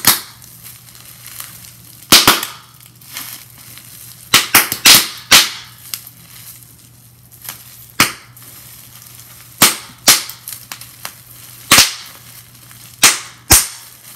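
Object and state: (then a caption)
Plastic bubble wrap popping. A small piece of clear plastic bubble wrap is twisted and squeezed in the hands, popping its bubbles in sharp, bright snaps that come in quick clusters and irregular single bursts. Softer plastic crinkling fills the gaps between pops over a faint, steady low hum.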